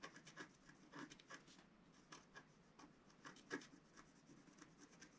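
A wooden stylus scratches lines into the coating of a flat, black-coated scratch-art card. Short, dry scratching strokes come in quick, uneven bursts, each a soft rasp with bright, papery edges that stops almost at once.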